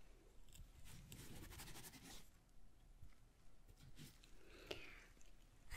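A small, hollow, empty, ribbed red paper lantern with gold print is held up in one hand while long nails on the other hand tap and scratch its surface. Soft, dry papery scratching rises into a broad rustling burst, settles into quieter scrapes, and is broken by a sharp tap before a louder crinkle at the end.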